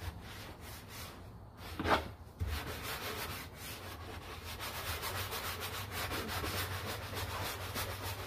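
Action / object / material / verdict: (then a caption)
scrape / molded plastic car door panel / plastic / none. A gloved hand scrubs a large, hollow, molded plastic interior door panel of a Honda, covered in foam, with a bristle brush in circular and back-and-forth strokes. The sound is a steady, scratchy, bright rubbing, with a louder swish near two seconds, and it grows slightly denser toward the end.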